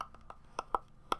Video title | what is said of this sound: A Year of Change: A Weight Loss Vlog - Day 053 - iSnack | that is actually the sound of the Apple it sounds like it's made of wood which is really weird